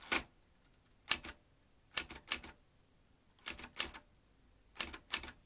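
Fingertips slowly type on the round keys of a vintage metal manual typewriter. Each press gives a crisp, bright clack that dies away almost instantly, some as quick double strikes, with quiet gaps between. The sound is thin and high with almost no low end.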